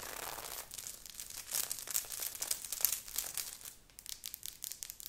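Long nails on both hands scratch fast over a worn grey knit sweater with a beaded, sequined heart on the chest. The result is a dense, bright, crinkly scratching with almost no low end, rising and falling in quick bursts throughout.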